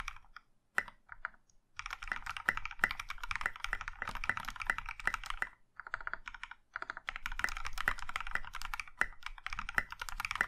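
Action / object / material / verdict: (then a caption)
tap / mechanical keyboard with plastic keycaps / plastic / none. A compact mechanical keyboard in a maroon metal case with dark grey and pink plastic keycaps is typed on with the fingertips of both hands. Dense bursts of sharp, bright clicks and clacks fill the clip, broken by a few short pauses near the start and middle.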